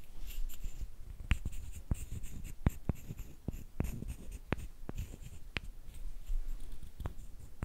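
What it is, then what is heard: Wooden sticks. A short, solid wooden stick is scraped and rubbed along a longer, flat wooden slat, held close by hands with long painted nails. A low, dry scraping rustle is broken by sharp, quick wooden ticks that die away at once, with faint bright hiss above.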